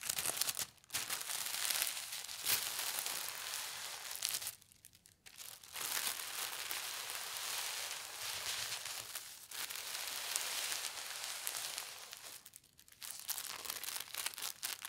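A thin, flat leaf-print tissue paper sheet resting on a tablecloth is slowly rubbed and smoothed by both hands with long red nails. It makes a steady stream of soft, bright crinkles and rustles, broken by a few brief quiet pauses.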